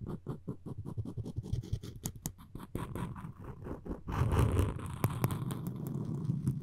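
Floss string is wrapped around a solid wooden spoon handle and rubbed against it, making a quick run of short, dry scratching strokes. After about four seconds the rubbing turns denser and more continuous, with a low, woody rasp and a few brighter squeaky flicks.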